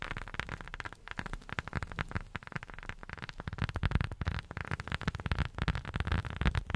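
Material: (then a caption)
Rubber. A rubber sheet is tapped rapidly and continuously with silicone rubber finger pads. The taps land as soft, dull, low thuds that die away almost instantly, with very little brightness. Over a faint hiss, the tapping grows slightly louder and denser toward the end.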